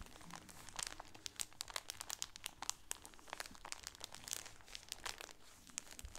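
A shower curtain with a red sunburst pattern, packaged in a clear plastic bag with a grommet, is crinkled across the top with fingernails and then squeezed with both hands. Dense, bright, crackly plastic crinkles come in quick sharp bursts over a quiet low rumble.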